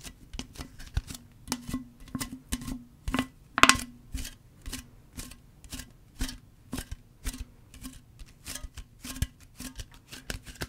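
A tall green Arizona green tea can, made of thin hollow aluminum, is held and tapped with long fingernails and fingertips. Sixteen quick, separate taps give sharp, dry clicks with a short hollow ring. The ring has a low tone near 250 Hz and a brighter tone near 1 kHz, and each tap dies out almost at once.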